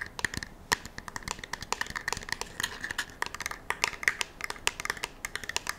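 A black polymer rifle magazine, held edge-on, is tapped and scratched with long nails. The result is a quick, dense run of crisp clicks and scratchy strokes, each dying almost instantly, with a bright plasticky tone around 1.9 kHz and little low end.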